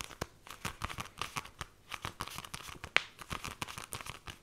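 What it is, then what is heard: Paperback book with glossy card cover. Long nails tap rapidly on the glossy card cover of a small, solid pink "Fairy Bears" paperback, and its pages are briefly flipped. The result is a quick, uneven run of dry, bright clicks mixed with papery crinkling rustle, with one sharper, louder click near the three-second mark.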